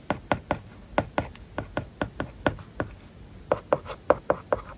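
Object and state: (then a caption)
Stylus on a glass tablet screen with a matte paper-like film. A stylus tip taps and scratches across an iPad's glass screen covered with a matte, plastic paper-like film while writing words. Eighteen short, dry taps sound out with a woody, mid-pitched click around 535 Hz, separated by faint scratchy strokes and quick pauses.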